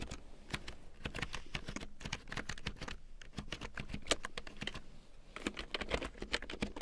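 A full-size large print keyboard with a black plastic frame and big yellow plastic keycaps, lying on faux fur, is typed on with long painted nails and fingertips. The result is a steady run of short, dry plastic clicks and taps with a bright edge and a soft low thump beneath.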